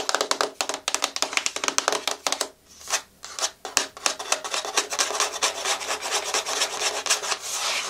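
Long fingernails rapidly tap and scratch the flat face of a small, hollow, white printed thin cardboard inner box for a LaCie external hard drive, held in the hand. The bright, dry clicks and scrapes come in quick bursts, pause briefly near the middle, then blend into a steadier scratching hiss toward the end.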